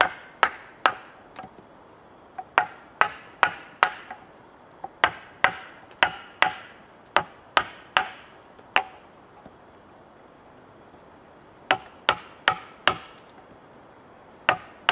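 A wooden mallet strikes a chisel that chops into a large solid cedar log resting on a bench. Sharp, bright, woody knocks come in an uneven rhythm, each dying away almost at once, with a pause of about two seconds near the middle before the strikes resume.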